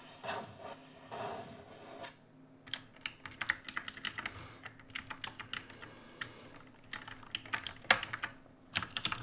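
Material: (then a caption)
Plastic. Bare fingertips of both hands type on a full-size black mechanical keyboard with plastic keycaps on a metal-look top plate, RGB backlit and resting on a wooden desk. A few soft, muffled touches come first, then bursts of crisp, bright key clacks in quick runs with short pauses. Each click dies away almost instantly over a faint low hum.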